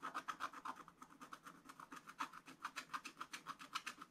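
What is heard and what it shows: A wooden stylus scratches steady strokes across a black scratch-art card bound in a spiral book. Quick, repeated dry rasping scrapes come at a fairly loose rhythm, each with a bright, hissy edge around 1.3 kHz and almost no low end. The strokes are quiet and stop short with no ring.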